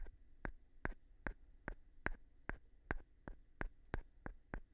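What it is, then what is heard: Wooden block tapped with a stone. A light-colored, palm-sized solid wooden block is scratched and tapped with the thin edge of a flat stone. The result is a steady series of short, dry clicks, about two or three per second, each with a crisp bright edge that dies away almost at once. Between the taps there is a faint, low background rumble.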